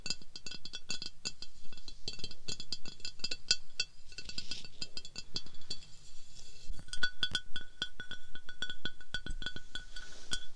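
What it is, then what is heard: Glass decanter. Continuous rapid tapping and some scratching on a glass bath oil decanter produces a dense run of sharp, bright glass clinks. Each tap rings briefly at a high pitch around 1.5 kHz, with softer scraping textures between some taps.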